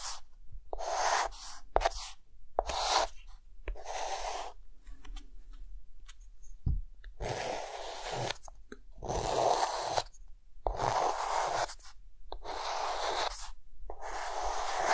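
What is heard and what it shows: A hand draws figure outlines with a white chalk stick on a flat dark green chalkboard. Bursts of dry, scratchy chalk strokes, bright and hissy with a midrange core, are broken by short quiet pauses and occasional soft taps.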